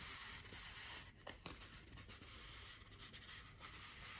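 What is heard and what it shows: A large white solid styrofoam wreath ring is held in both hands and rubbed and scratched with fingers and nails. It makes a quiet, bright, dry scratching and rubbing hiss, with a few sharper squeaky scrapes standing out from the steady friction.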